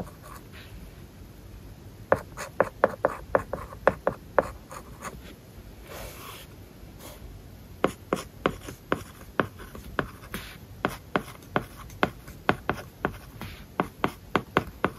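A stylus tip writes on an iPad's glass screen covered with a matte plastic paper-like film. Quick, dry tapping scratches come in two bursts with a pause between them, bright and papery with very little ring.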